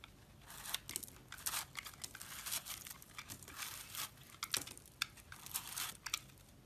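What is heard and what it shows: A utility blade scrapes a solid pink bar of soap with a soft, powdery outer layer, held in one hand by fingers with dark painted nails, shaving off crumbly powder and chunks. The clip is a quiet, continuous run of dry, bright scraping and crunchy crumbling bursts with almost no low end.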